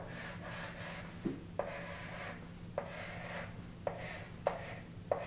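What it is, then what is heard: Chalk writing on a chalkboard. A chalk stick held in the fingers writes "Neptune - 1846" under "Uranus - 1781" on a large framed chalkboard mounted on the wall. The chalk gives soft rubbing, scratching strokes with a bright hiss, broken by short, sharp taps as it meets the solid board. Under it all is a steady low hum.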